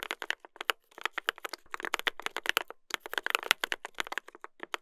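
Two hands type continuously with their fingertips on a mechanical keyboard with a brass plate and plastic keycaps. The result is a rapid run of sharp, dry clacks. The clacks are bright and crisp, with almost no low end and no ring after each keystroke.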